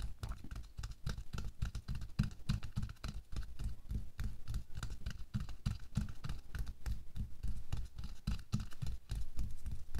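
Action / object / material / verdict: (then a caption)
scrape / thin latex glove on a hand / latex / none. Bare fingers with short nails rapidly scratch and tap the back of a hand lying flat in a thin pink latex/nitrile glove. The result is a steady stream of soft, dull, low-heavy taps and scratchy rubbing with very little ring.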